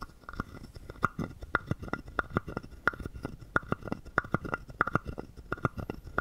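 A wooden stick scrapes along the ridged back of a small, hollow, carved wooden frog guiro held in the hand and taps its body. The result is a quick, uneven run of short, dry, woody clicks and knocks with a hollow tone around 1.4 kHz, each dying away almost instantly, over a soft low rumble.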